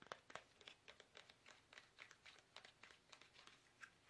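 A small, hollow, squeezable soft plastic toothpaste tube is held upright in both hands while fingertips tap it fast. The result is a quick run of short, dry, crinkly taps with bright, papery highlights and almost no low end.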